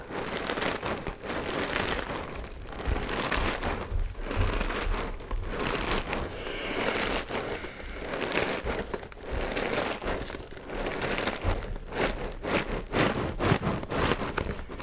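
A medium-sized Cheerios cardboard cereal box, hollow and apparently holding cereal, is held in both hands while long nails tap and scratch its front face, and it is possibly shaken. The sound is a steady stream of dry crinkling, crackling and soft papery scratches, with low hollow thumps and brighter rasping strokes that swell and fade throughout.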